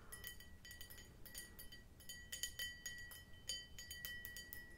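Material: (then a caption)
Glass. An empty clear glass martini glass with a conical bowl is held in the hand and tapped on the bowl with long nails. A quick, uneven series of light, bright clinks rings with a clear tone near 3 kHz and fades fast, over a faint low background rumble.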